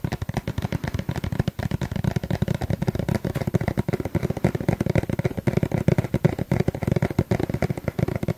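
A small, hollow yellow plastic suncream tube is held in front of the mic and tapped rapidly with fingertips and nails. The result is a dense, continuous stream of short, dry, hollow taps with a low, dull body and almost no ring.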